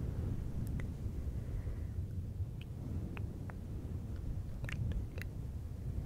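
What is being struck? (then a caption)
Synthetic fur microphone windscreen. Fingertips of both hands rub and scratch a fluffy synthetic fur windscreen on a silver microphone. The sound is a steady, muffled low rumble with a few brief, bright scratchy clicks scattered through it.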